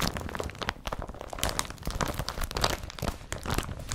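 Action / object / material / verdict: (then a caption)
scrape / woven polypropylene carrier bag / polypropylene / none. Fingertips scratch a blue woven polypropylene IKEA BRATTBY carrier bag, then hands crumple the bag and its straps. The result is a dense, continuous run of crinkling and crunching with short scratchy bursts that reach into the high range over a low rustling body. There are no clean pauses between the sounds.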